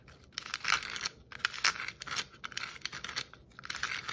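Long nails tap and scratch across a hollow red and white striped plastic Christmas ornament ball and its metal cap. The result is a busy run of light, bright clicks and scrapes in irregular bursts with crisp, dry, high-pitched detail and almost no low end.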